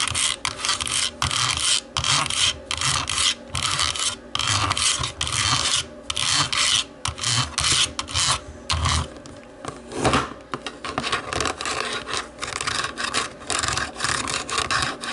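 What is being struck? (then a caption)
Plastic remote control. Long nails scratch and tap a small, hollow black plastic DVD remote control, first lying face down on its textured back and then face up. Quick bursts of bright, raspy scratching alternate with short pauses and light taps. The sound is mostly high-pitched friction with little low end.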